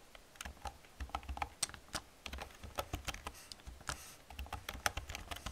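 Long painted nails and fingertips type fast on the hollow plastic keys of an old black plastic computer keyboard. The result is a rapid, irregular stream of short, bright, clacky clicks with a soft low thump beneath. Each click dies away almost instantly.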